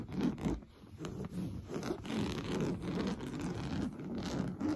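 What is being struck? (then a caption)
Coarse-weave fabric sofa cushion. Blue-painted nails scratch fast across an orange coarse-weave fabric sofa cushion. The result is a steady, dry, scratchy rasping with a muffled, low-mid body and little brightness, rising and falling in quick overlapping strokes.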